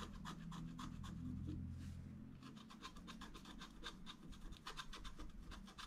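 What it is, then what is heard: Scratch art paper card. A wooden stylus scratches short strokes on a flat scratch art paper card held in the left hand, beside a gate. Quick, bright, raspy scratches repeat in an uneven rhythm over a steady low hum.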